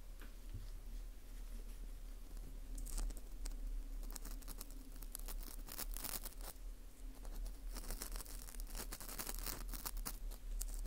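A small, light, porous ring of dried wheat gluten (fu), held in gloved hands, has its central hole scraped with a thin orange plastic earpick. Quiet, dry scratching and crinkly scraping with bright, crisp bursts repeat irregularly throughout, over a steady low hum.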